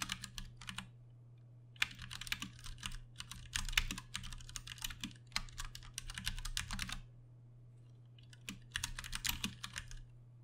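Both hands type with their fingertips on a Ducky One 2 Mini, a compact 60% mechanical keyboard with plastic keycaps, Cherry MX Brown switches and RGB backlighting, resting on a desk. Bursts of quick, bright, clacky keystrokes run over a steady low hum. The typing pauses briefly near the end before a final flurry.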